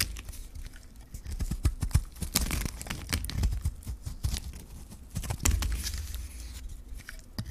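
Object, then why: Bar of soap shaved with a metal blade. A metal blade shaves the surface off a solid, hand-held white bar of dry soap with a gold rim. The result is a rapid run of crisp, dry scraping and crumbling with a low thudding body underneath, with short bright flecks as the shavings break away.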